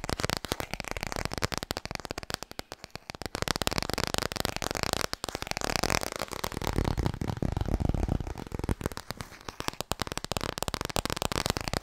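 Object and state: Hardcover book.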